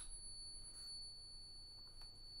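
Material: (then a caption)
Silver or gold. A silver or gold bullion coin rests in a pocket pinger after being struck with a stack stick, giving a sustained, bell-like high ping with a faint upper overtone. The pure tone rings on steadily for the whole clip without fading over a low background rumble. The long ring marks the coin as genuine precious metal.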